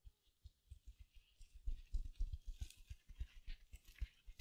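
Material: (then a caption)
Foam, mesh. Long nails scratch the surface of a small silver glitter mesh-covered foam sponge held beside the mic. Quick, uneven scratching strokes give soft, dull low thumps with a faint, bright crinkly hiss, growing louder and busier partway through.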